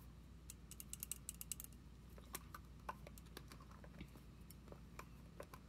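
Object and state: Plastic foam pump bottle tapped with nails.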